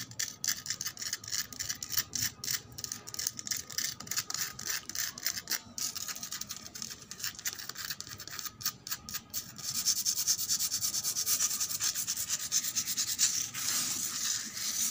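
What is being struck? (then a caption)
Outdoor concrete floor. Long acrylic nails scratch and rub back and forth across a solid, gritty outdoor concrete floor, making a dry, bright, rasping texture in quick uneven strokes. After about ten seconds the rubbing turns denser and more continuous, with a steady high hiss.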